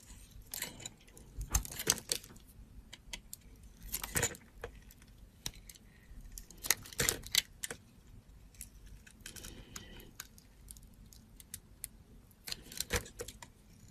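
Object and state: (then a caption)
Soap bar being carved. A solid teal soap bar, held in a hand with long nails, is faceted with a metal box-cutter blade that cuts and scrapes across it. Crisp, bright scratchy bursts come in irregular clusters over a faint low background rumble, each stroke dying away almost instantly.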